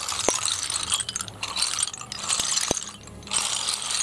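Bare fingertips stir and shuffle a large heap of small, hollow, empty snail shells on a concrete floor, so the shells clatter against each other. The sound is a dense, bright, crisp rattle of tiny clicks, with a few sharper ticks standing out. It comes in waves with brief quieter lulls between them.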